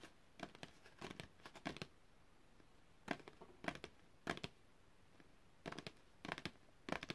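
A long, thin printed cardboard packaging card is held upright and tapped and flicked with long red-painted fingernails. Quick bursts of crisp, dry, papery clicks and light scratches come in irregular clusters, separated by near-silent pauses. Each click stops instantly with no ring.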